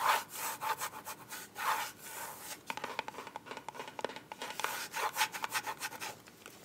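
A small, closed, black hollow glasses case with a soft plastic or faux-leather covering is held in both hands and scratched and tapped with long white acrylic nails while it is turned. Dry, bright scratching swishes come in bursts, with a slight tone around 900 Hz. In the second half they give way to quick, sharp clicking taps.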